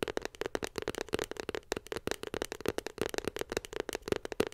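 Long pink nails rapidly tap a small white glossy cardboard iPhone 7 Plus box held beside the mic. A quick, dense stream of dry, crisp clicks with almost no ring carries a hollow tone around 420 Hz and a bright edge. The tapping stays light and steady throughout.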